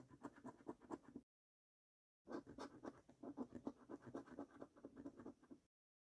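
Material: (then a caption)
Paper. The edge of a coin scrapes the silver scratch-off coating of a thin, flat paper National Lottery £2 Gold scratchcard that lies on a dark wooden table, held by the fingertips of one hand. Quick, repeated scratchy strokes run in two bursts separated by about a second of silence, each stroke short and dry with a mid-pitched rasp and little low or bright content.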